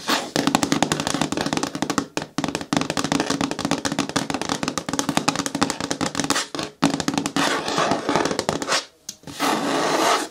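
Long nails tap rapidly on the front wall of a hollow, medium-hard green plastic bin with a lid, producing quick, dry clicks over a hollow tone. The tapping runs in dense bursts with brief pauses and ends in a steadier, brighter rustling stretch.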